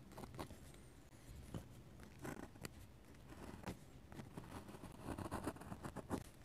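A metal-nib dip pen makes fast, scratchy hatching strokes and light taps on a paper sketchbook page. The quiet, dry scratches come in short bursts with bright rasping edges over a soft low rumble, each stroke stopping abruptly with almost no ring.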